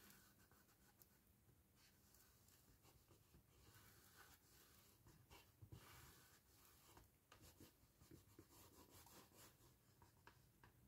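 Fingertips and nails rub and press along the lower corner seam of a small, hollow, empty handmade gift box of patterned cardstock standing upright. The sound is a quiet, continuous papery scratching over a soft, low hollow rumble, with brief brighter scrapes and light taps breaking through now and then.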